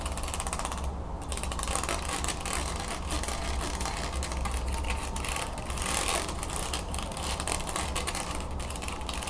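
Long nails scratch and flick along the thin perforated wooden slats of an open, medium-sized wooden folding fan held over a table. The result is a steady stream of rapid, dry, ratchet-like clicks and scratches over a constant low rumble, with brief brighter bursts.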